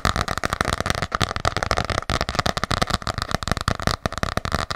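Long nails tap rapidly on the cover of an ornate hardcover paper journal held close to the microphone. The taps are quick, dry clicks with a soft low thump beneath them, each dying away almost at once in a steady, uneven patter.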